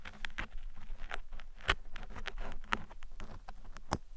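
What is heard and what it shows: Thin metal picks poke and scratch across the sides and top of a black foam microphone windscreen. The result is a steady run of soft, crackly scratching and pattering taps, with a few sharper, brighter clicks standing out over a low, muffled rumble.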